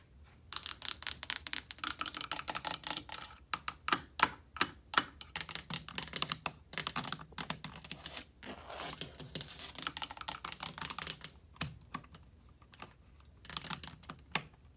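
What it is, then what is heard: Plastic light switch plate tapped with nails. Long painted nails tap and click across a cream plastic triple light switch wall plate, mounted flat on a painted wall, and over its rocker switches. The result is a rapid, uneven run of bright, dry clicks that die away almost instantly, with brief pauses and a quieter stretch before a final burst of taps.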